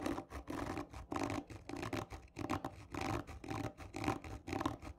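Long nails on both hands scratch hard and slowly along a hollow, textured cardboard tube lying on its side. The result is a series of rough, scraping bursts with a hollow resonant ring, separated by short pauses.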